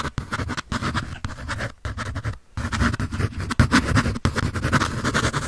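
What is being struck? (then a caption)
Pencil on paper sketch pad. A pencil tip scratches rapidly across a sheet of white drawing paper on a sketch pad held by hand. It makes a dense, dry, scratchy rasp with a heavy low body and a little brightness on top. The strokes run in steady bursts broken by a few brief pauses.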